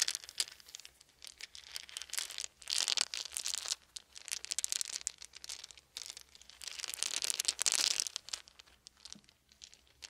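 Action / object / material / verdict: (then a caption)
shake / small round wooden beads / wood / none. A handful of small, round, solid wooden beads is rolled and rubbed together between cupped hands above a fluffy blanket. The beads clack against each other in dense, bright, crinkly rattles with no low end, swelling into louder bursts and then easing off.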